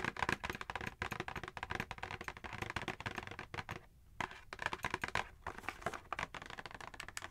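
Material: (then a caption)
Cardboard. Long acrylic nails rapidly tap and scratch across the printed cardboard back panel of an eos gift set box, a hollow box with contents inside. The result is a dense run of crisp, dry clicks and scratchy rustles with almost no ring, briefly pausing near the four-second mark before resuming.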